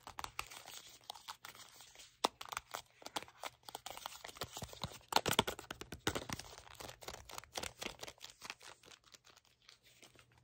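A small red cardboard cleanser box is held in both hands while nails tap and scratch along its sides and edges. The result is a dense run of quick, dry taps and papery scratching with crinkly, bright detail and little low end. A steady low hum sits underneath.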